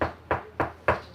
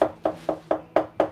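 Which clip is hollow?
The second.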